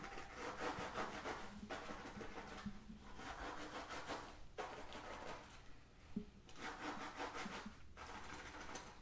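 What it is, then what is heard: Textured faux leather pouch being scratched. Fingernails scratch a soft, flat black drawstring pouch of textured faux leather with a Guess logo, held in the other hand. Rapid, raspy strokes come in bursts separated by brief pauses, giving a dry, bright rubbing texture at a quiet level.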